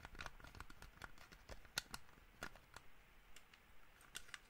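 A small black plastic gaming mouse with a hollow shell is held in one hand while the fingertips and nails of the other hand tap and scratch it. Quick dry taps and sharp bright clicks scatter over a soft, scratchy rustle, each dying away almost at once with a faint plastic tone near 1.4 kHz.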